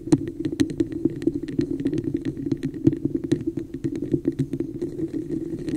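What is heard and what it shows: Long nails scratch and tap a hollow, textured red plastic cup with a raised pattern, turned upside down over the microphone. Quick, dry clicks and scrapes come in a rapid, uneven stream over a hollow, boxy resonance, with bright ticks on top and almost no ring after each tap.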